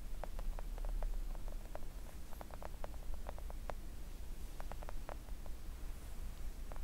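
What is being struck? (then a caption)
Silicone nail art mat tapped with acrylic nails. Long acrylic nail tips gently tap a flat, thin, solid pink silicone nail art mat. Soft, short ticking clicks come in an irregular stream over a steady low rumble that fills the background.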